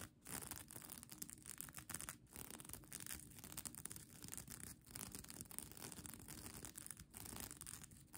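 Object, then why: Plastic sequin blanket. Long nails scratch across a bunched-up plastic sequin blanket, making a steady, dense rasping and rustling with bright clicking chatter from the sequins and brief dips between strokes.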